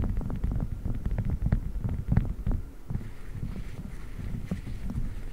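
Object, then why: Silicone spiked massage pad on a microphone grille. Fingertips press, squeeze and rub a flat blue silicone spiked massage pad draped over the metal grille of a large condenser microphone. The result is deep, muffled thumping and crackly taps, with most of the energy low in the range. A quicker run of soft bumps gives way to a quieter, steady rubbing texture in the second half.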